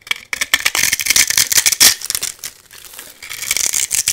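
A metal blade scrapes and cuts flakes and small cubes off a hand-sized solid white soap bar with a gold-painted embossed coating, held in one hand. Dense, bright crackling and crisp scraping come in rapid, overlapping bursts, loudest in the first half. The sound thins to a softer rasp before picking back up with sharp clicks at the end.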